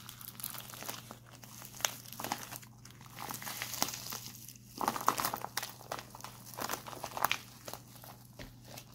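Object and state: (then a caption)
Plastic instant cold pack. A white printed plastic instant cold pack is twisted and held up in both hands, its crinkly plastic film crumpled and squeezed. Dense, bright crinkling and crackling comes in many quick bursts over a faint steady low hum, with sharp snaps that die away almost at once.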